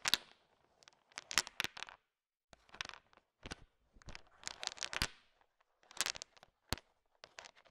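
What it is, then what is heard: Candy-coated peanut chocolates being stirred. A heap of small, hard, sugar-shelled peanut M&Ms filling a bowl is stirred and tapped with a thin wooden stick to mix them. The result is quiet, bright, dry clicking and rattling in short, scattered bursts separated by brief silences, with almost no low end and no ring.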